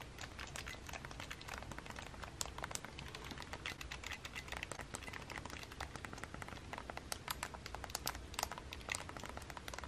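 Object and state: Plastic handheld game console buttons.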